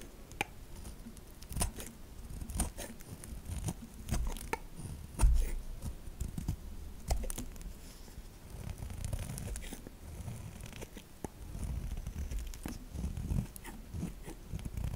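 A metal knife scrapes shavings off the surface and edges of a solid white bar of soap held upright. The result is a steady run of short, dry scraping and crunching strokes over a soft, low rumble, with brief bright clicks where the blade catches.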